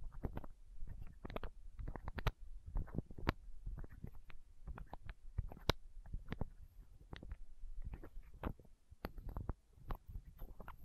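Long nails scratch and tap a small, hollow, clear plastic eye drop bottle held right against the microphone. Quick, irregular clicks and scrapes come in dense clusters with brief pauses between them. Each one is short and dry, with a heavy, close-up low thump beneath a light crackly edge.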